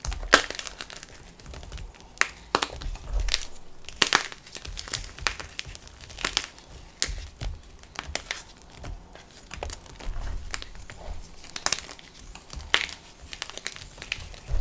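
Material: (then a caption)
Chalk. Broken chunks of solid, dry white gym chalk block (magnesium carbonate) sit in a black tub over purple chalk powder. They are crushed and crumbled between the fingertips and thumbs of both hands. The result is dense, dry crunching and gritty crumbling, with frequent sharp, bright cracks that stop almost instantly.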